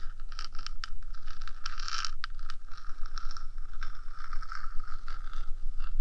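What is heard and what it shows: Long dark nails scrape and scratch the top of a 3Dio microphone's small metal housing. The result is a steady, close rasping texture of quick overlapping strokes with bright, hissy edges over a low rumble.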